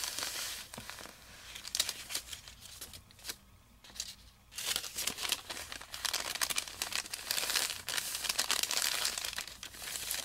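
A long, thin, flat strip of white parchment paper lying on carpet is pressed, smoothed and rubbed with the fingertips of both hands. The result is bright, dry crinkling and crackling with many quick rustles. A quieter stretch around three to four and a half seconds gives way to denser, louder crinkling after.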